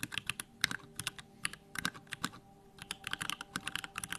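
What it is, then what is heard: Plastic mechanical keyboard being typed on. Fingertips type rapidly on a small 65% Bakeneko65 mechanical keyboard with Durock lavender switches, a plastic case and pink-white plastic keycaps, resting on a wooden desk. About two dozen quick, bright, crisp keystrokes clack with no ring and a brief pause midway, over a faint low hum.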